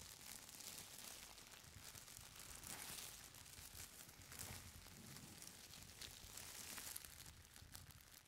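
Fingertips and long nails rub and press the top sheets of a folded stack of thin purple tissue paper. Soft, continuous crinkling and papery rustling fill the clip, bright and high with a faint low rumble underneath.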